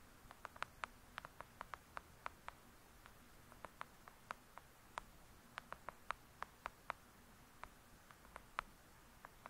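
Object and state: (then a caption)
Paperback book tapped with nails. Long acrylic nails tap and scratch the cover of a thick, solid "Lady Midnight" paperback book lying flat. About 32 crisp, bright, very short clicks sound at an irregular pace over a faint, quiet background hiss, and each one dies away almost instantly.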